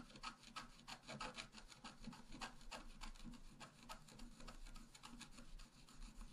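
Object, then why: Wax-coated scratch-art paper card scraped with a wooden stylus. A wooden stylus scratches a flower into the center of a flat, black-coated scratch-art paper card. The result is a steady run of short, dry, raspy strokes with a bright hiss and a faint low rumble underneath.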